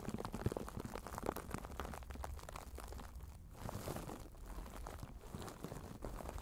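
A soft white sheet of tissue paper, held in both hands in front of the chest, is crumpled and crinkled by the fingertips. It makes a quiet, steady run of dense, dry crackles with a low rumble underneath, and no single crunch stands out from the rest.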